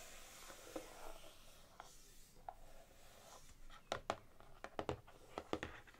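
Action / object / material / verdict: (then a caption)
tap / hardcover book with laminated cardboard cover / laminated cardboard / none. Long manicured nails and fingertips tap and scratch across the glossy laminated cardboard front cover of a large, solid hardcover cookbook held upright on a table. Soft, papery scratching fills the first half at a quiet level. Sharper, dry clicking taps that die away almost instantly take over toward the end.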